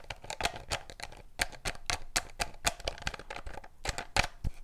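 Fingers twist the blue plastic screw cap on and off a clear, seemingly empty PET drink bottle with a strawberry label, then grip the label area. The result is a quick, irregular series of short, dry plastic clicks from the threads, bright and crisp with a low thump under each and almost no ring.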